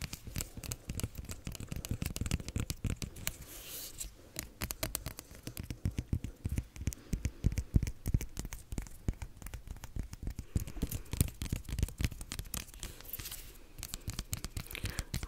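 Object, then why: Whole cucumber with bare skin. Long nails tap and scratch the ridged green skin of a long, whole, solid English cucumber with its plastic wrap removed. Rapid, dry, short clicks and scratchy rubbing run steadily throughout, with a dull low-pitched thump under each tap and almost no ring.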